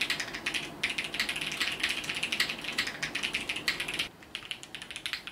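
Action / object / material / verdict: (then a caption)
tap / mechanical keyboard with plastic keycaps / plastic / none. Fingertips type continuously on a compact Sunset 80 mechanical keyboard with multicolored plastic keycaps, producing a rapid stream of bright, short clicky key presses with little low end. The typing grows slightly softer for the final second.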